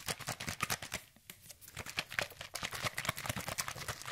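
A hand-sized, hollow orange plastic sunscreen spray bottle containing liquid is held in the fingers and shaken rapidly close to the microphone. It makes a fast, bright train of sloshing, ticking clatters with little low end. The shaking quiets briefly a little past the first second, then picks back up at full pace.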